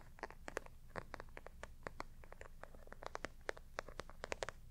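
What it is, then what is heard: Textured faux leather pouch. Long nails of both hands scratch and tap a flat, hollow, black glossy faux leather clutch with a bumpy embossed texture. A quiet, rapid, irregular series of short, dry, crisp clicks and scratchy ticks stands out over a low, steady rumble. Each tap stops instantly with no ring.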